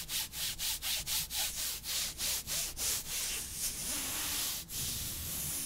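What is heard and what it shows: A gloved hand, in long, thin, sheer black nylon mesh opera gloves reaching the elbow, rubs and slides its fingertips and palm along the other gloved forearm, held away from the microphone. It makes a bright, hissy fabric-on-fabric rub and scratch: quick rhythmic back-and-forth strokes at first, then smoother, more continuous swishing.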